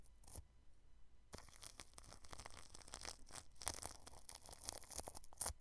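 A small paintbrush brushes over clear plastic cling film wrapped around a round microphone, right at the grille. After a brief first stroke and a pause, a dense run of crinkly, scratchy brushing strokes follows, with bright crackling peaks and a low rumble underneath.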